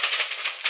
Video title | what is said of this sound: Cobo Vault Hardware Wallet Unboxing | if you shake that, you can hear all the individual characters